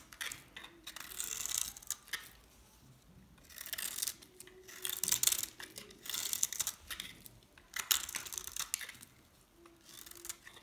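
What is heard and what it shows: A metal scraper blade shaves the surface of a hand-held, dry, solid brown stamped DALAN soap bar with a green interior. The result is bursts of dry, high, bright scraping and crinkly shaving with quiet pauses between strokes.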